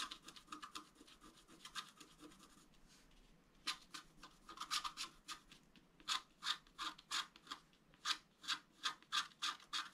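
A wooden stylus scratches the water streams into a flat scratch-art card, black coating over colored foil, lying on a table. Short, bright, dry scratching strokes come in irregular bursts, softer and denser at first, then louder and more separated strokes in the second half. Each stroke is a brief hiss-like rasp concentrated above 1 kHz, with almost no low end.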